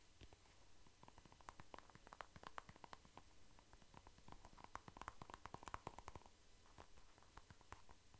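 A soft plastic cream tube held in the hand is scratched and tapped with nails and fingertips. Quiet, dense, rapid clicks and taps crackle over a faint low rumble, with a hollow tone around 1 kHz ringing through the louder stretches. Each tap dies away almost instantly.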